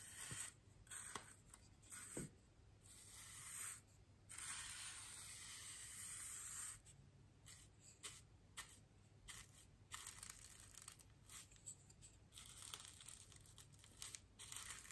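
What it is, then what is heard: Styrofoam ring brushed with a paintbrush. The bristles of a small paintbrush are brushed across a large, solid white styrofoam wreath ring held upright. The result is soft, bright, scratchy swishing in short strokes and longer sweeps, with most of the energy in the high range over a faint, steady low hum.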